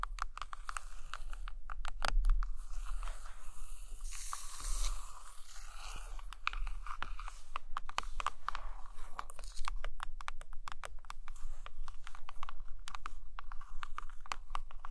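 Long acrylic nails tap and scratch the glossy laminated photo cover of a large hardcover book lying flat on a carpet. Dense runs of quick, sharp clicks alternate with brief scratchy, crinkly passages over a steady low hum. Each tap dies away almost at once.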